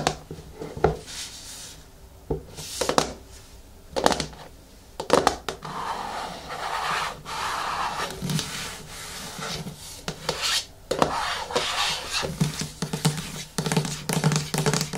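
A medium yellow plastic hair mask jar sits on a wooden table while fingertips tap it and nails scratch its lid and sides. Sharp, dry taps with almost no ring are scattered through the clip. Between them come stretches of steady, raspy scratching that run brightly into the high range.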